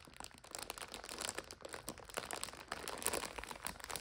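Fingertips rub and long nails scratch and tap the wrapper of a full plastic multipack of instant noodles lying flat. The result is a dense, quiet run of bright crinkling and crackling with quick, dry ticks and almost no low end.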